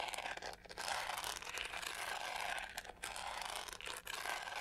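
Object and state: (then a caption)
Plastic hair brush scratched. Long nails scratch aggressively across the pink studded back of a hollow plastic hair brush. The result is a dense, continuous, bright rasping and crunching texture with brief dips between strokes and almost no low end.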